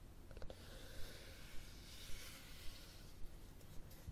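Fingernails tap and scratch the top cover of a red cloth-covered hardcover book held flat, with the thumb holding the spine. Quiet, dry taps recur at a steady, fairly regular pace over a soft, continuous scratching hiss and a low rumble.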